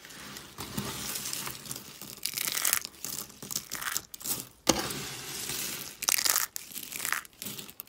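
Thin, dry soap flakes are scooped up and pressed by hand, then crushed in a fist. The result is a run of crisp, bright crackling and crunching bursts with short gaps between them, and each burst stops almost instantly with no ring.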